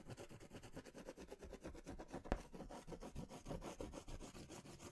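A crayon is rubbed vigorously in circles and strokes over a large paper sketch pad held upright, making a quiet, steady, low-heavy scratching with rapid, rhythmic pulses. A single sharper tap stands out just past the midpoint.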